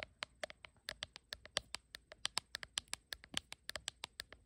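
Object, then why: Glass phone back tapped with fingernails. Long acrylic nails tap and scratch the bare glass back of a blue iPhone with no case, held in one hand. About 28 quick, sharp clicks come in a rapid, uneven rhythm, each bright and dry with almost no ring or low end. The overall sound is quiet.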